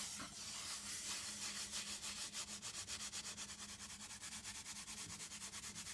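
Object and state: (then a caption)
Cardboard box. Fingertips and long nails rub and scratch the flat face of a small, closed, hollow brown cardboard box. A bright, dry scratching hiss starts as a steady rub, then settles into quick, rhythmic back-and-forth strokes of about three per second.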